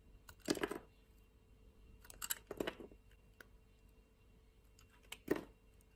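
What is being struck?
Translucent bar of soap cut with a blade.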